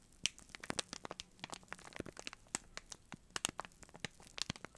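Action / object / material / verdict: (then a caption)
scrape / cardboard box in cellophane wrap / cellophane / none. Fingertips squeeze and rub the clear cellophane wrap on a small rectangular cardboard box held up close, crinkling the plastic. A quiet, dense run of sharp, bright crackles and snaps follows, with little low end and each tick dying away almost instantly.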